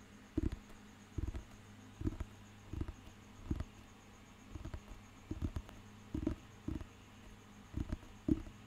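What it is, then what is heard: Thick paper dictionary tapped. Fingernails and fingertips tap and scratch the glossy cover of a thick, solid, handheld paper dictionary book. Short, dull, muffled taps come in irregular bursts, some in quick pairs, each dying away almost at once, with faint soft scratching between them. A quiet steady hum and a thin high tone sit underneath throughout.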